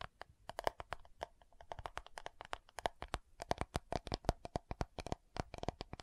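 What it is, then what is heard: Plastic powder jar tapped and scratched with nails. Long nails tap and scratch the lid and rim of a round, dark purple plastic loose powder compact jar. Dozens of quick, sharp clicks come in an uneven rhythm, each with a bright snap and a faint hollow tone near 700 Hz that dies away almost at once. Soft scratchy rustles fill the gaps between taps.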